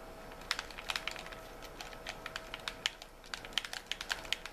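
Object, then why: Plastic game controller. Fingertips tap and click on the buttons and shell of a white hollow plastic gamepad held in both hands. Quick, bright plastic clicks come in an irregular patter, each dying away almost instantly, over a quiet, steady background hiss.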